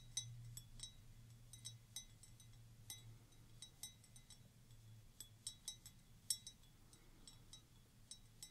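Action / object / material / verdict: tap / glass wine glass partly filled with water / glass / none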